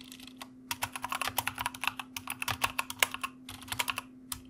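Fast fingertip typing with both hands on a white plastic mechanical keyboard produces a rapid, uneven stream of sharp, bright clicks with very short decay. Brief pauses break the bursts, and a faint steady low hum runs underneath throughout.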